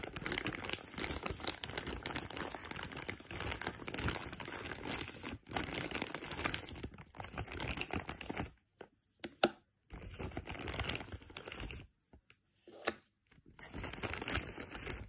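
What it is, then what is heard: Plastic packaging bag being crumpled. A black printed plastic tealight packaging bag is opened and creased as fingertips with long pink nails crumple and scratch the thin plastic film. Dense, bright crinkling and crackling run almost continuously, then break into short bursts separated by brief silences near the end.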